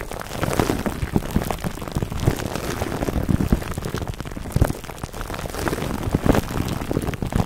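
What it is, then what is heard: Plastic cling wrap crinkled over a foam microphone cover. Clear plastic cling wrap stretched over a black foam microphone windscreen is squeezed and rubbed between the fingertips of both hands. It produces a dense, continuous stream of close, low-heavy crinkling and rustling, with many brief sharp crackles and stronger bursts scattered throughout.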